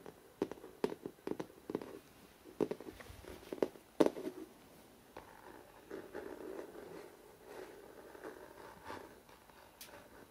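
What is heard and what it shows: Fingertips and short nails fast-tap the glossy paper front cover of a large, solid hardcover photo book with a New York skyline cover, lying upright. Sharp, dry clicks with a mid-range knock come in quick, uneven bursts, each dying out almost at once. The first half has louder, distinct taps; the second half settles into a softer, denser patter with light scratchy brushing.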